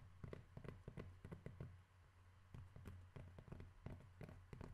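Fingers tap on cork objects in a quick, irregular series of soft, dull knocks. Each tap is short and muffled, dying away almost at once, over a steady low hum. The sound stays low and warm, with almost no brightness.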